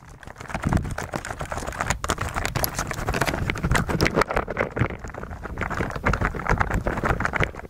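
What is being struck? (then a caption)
Plastic mechanical keyboard under a layer of slime. Fingertips of both hands type on a white mechanical keyboard with plastic keycaps that sits on a table under a layer of clear blue slime, pressing the keys through the slime. A steady stream of rapid, muffled, soft clicks blends with wet, sticky squelches. The sound is mostly low and dull with little bright edge, and the typing continues unbroken throughout.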